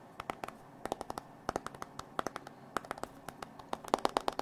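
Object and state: Glass and metal smartphone.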